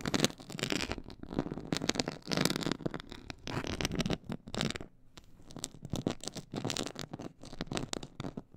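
Long nails scratch the side of a black pyramid-textured faux leather board, making a dense run of quick, crackly scrapes with a bright rasp and some low body. The scratching comes in bursts with brief pauses, the clearest gap near the middle.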